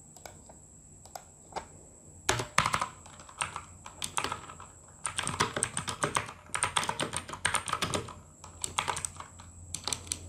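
Fingertips of both hands type on the plastic keycaps of a full-size RGB mechanical gaming keyboard, producing sharp, bright clicks and clacks. A few scattered keystrokes give way to dense bursts of rapid typing with brief pauses between runs, over a faint steady high-pitched tone.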